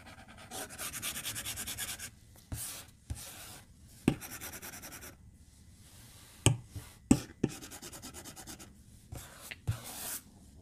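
A white plastic stylus tip scratches and strokes across the flat glass screen of an iPad tablet lying on a desk while drawing. Soft, bright, scratchy swishes come in bursts of quick repeated strokes, separated by brief pauses. A few sharp, dry taps of the tip against the glass stand out between them.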